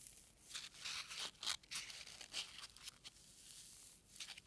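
A single small white packing peanut of solid foam is squeezed and rubbed between a thumb and fingertips with short nails, held close up. It makes bright, squeaky crinkling and creaking bursts in quick, uneven succession, with almost no low end and no ringing after each squeeze.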